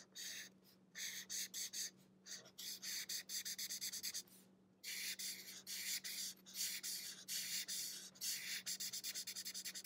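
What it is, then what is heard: Marker coloring on paper. The thick felt tip of a marker rubs back and forth across an open, partly colored paper sketchbook lying flat, in steady coloring strokes. Each stroke is a bright, dry, scratchy swish, repeating rapidly with a few short pauses and one longer break near the middle. A faint steady low hum runs underneath throughout.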